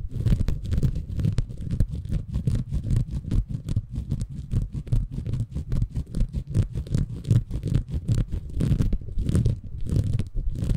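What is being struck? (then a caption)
Bamboo fiber sponge. A small, soft, compressible green porous bamboo fiber sponge is held in both hands above a Tascam recorder while fingertips scratch and squeeze it. The result is a continuous stream of rapid, irregular, muffled scratching and crunching, deep and bassy with almost no bright content.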